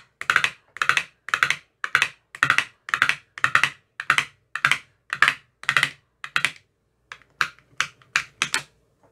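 A metal rod with a white tip taps the rims and bottoms of the green silicone cells in an empty clear plastic ice cube tray. It makes a steady series of short, dry, clicky rattling bursts with a bright high edge, like keyboard typing. After a brief pause near the end come a few sharper, quicker single taps.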